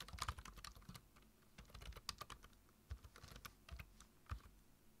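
Fingertips tap the keys of a black plastic low-profile computer keyboard in irregular bursts of typing. The keystrokes are short, dry clicks with a bright, sharp edge over a soft low thump. Between the quick runs of keys there are brief pauses.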